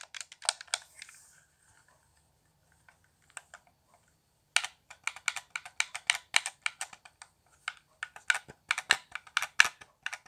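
Fingertips tap the buttons and thumbstick of a handheld, hollow, transparent plastic Xbox One controller with a cable. Sharp, bright clicks come in a quick cluster, thin out into a few sparse taps, then return as a dense, steady run of crisp tapping.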